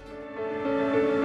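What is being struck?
Nothing is struck.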